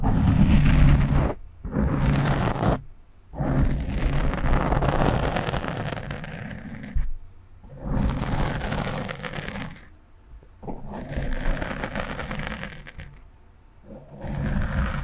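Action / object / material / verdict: scrape / foam microphone windscreen / foam / none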